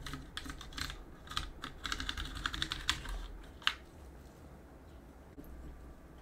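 A backlit mechanical keyboard with plastic keycaps is cleaned by gloved fingers holding a cotton swab, which work around the keycaps and press the keys. An irregular run of short, bright clicks fills the first four seconds, ending with a sharp louder click, then a quieter stretch with one more faint tap.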